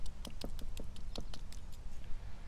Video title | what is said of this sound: Barton Seaver - Seafood on the Grill | it's really crispy it's really nicely done